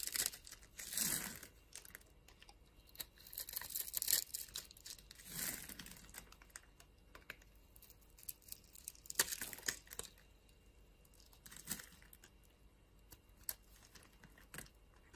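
A utility knife blade scrapes and shaves the edge of a solid, palm-sized yellow bar of soap held in the palm, leaving crumbs in the hand. Quiet, bright, crisp scraping bursts mix with short dry clicks and crinkly crunches, with little low end and almost no ring.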